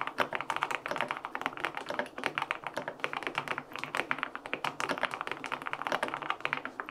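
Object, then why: Aluminum mechanical keyboard with plastic keycaps. Fingertips type on the plastic keycaps of a white-pink full-aluminum 65% mechanical keyboard (LINK65) with linear switches, an FR4 plate and foam filling. A steady stream of quick, crisp keystrokes clacks with a bright, short tock and almost no low rumble.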